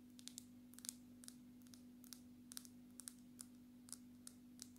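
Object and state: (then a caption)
Glass-backed smartphone. Long natural nails tap the glass surface of a black, glass-backed smartphone held sideways near the face, making 17 quiet, short, bright clicks at an irregular pace. The taps stop almost instantly with no ring, over a steady low hum.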